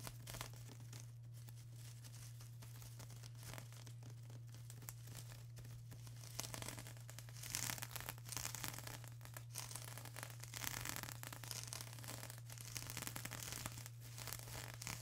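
Long acrylic nails scratch across a flat sheet of plastic bubble wrap, making quiet, crinkly scratching and rustling with bright, hissy texture. The scratching grows busier and louder about halfway through, over a steady low hum.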